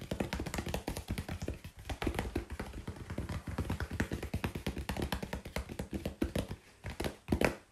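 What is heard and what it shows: Fingers tap rapidly and steadily on cardboard, producing a dense run of short, dull taps. Each tap is low and thuddy with almost no ring, sometimes firmer and louder, and it continues without a pause.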